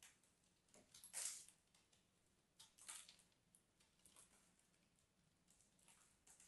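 A small metal knife carves and scrapes into a small, solid block of purple crumbly soap held in the fingers of both hands, with long red nails visible. Quiet, bright, crisp scraping and crumbling strokes come in irregular bursts, the loudest at the start and again about a third of the way through. Each stroke shaves off crumbly flakes, and the sound dies away quickly.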